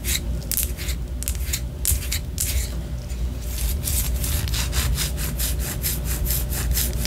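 A white solid wax pillar candle, held horizontally, is scratched with long orange nails. Dry, bright scratching strokes repeat over a steady low hum, starting irregular and becoming quicker and more even in the second half.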